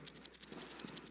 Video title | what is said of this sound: Questions and Responses - Br Phap Dung, Sr Le Nghiem, Sr Phu Nghiem, and Br Minh Luong - 2025-01-02 | they make the noise by shaking it